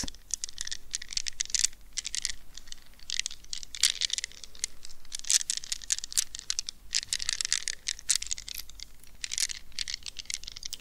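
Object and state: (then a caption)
Mesh-covered rubber stress ball being scratched. Long red nails scratch and squeeze a palm-sized, gel-filled soft rubber squishy stress ball covered by a plastic mesh net. Dense bursts of bright, crackly scratching and crinkling rise and fall with very short, dry decay.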